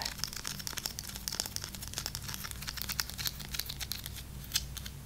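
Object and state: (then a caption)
Dry, crunchy breadstick. Long acrylic nails, painted red, black and glitter, tap and scratch a single long, dry baked breadstick with a solid crunchy crust, held in one hand. Quick, crisp clicks and dry crackling scratches run steadily over a faint low hum.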